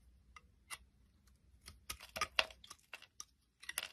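A utility knife blade carves the raised bumps and surface of a solid, round purple soap bar held in the hand, producing shavings. Short, crisp, bright scraping cuts come in quick bursts over a quiet background, each dying away almost at once.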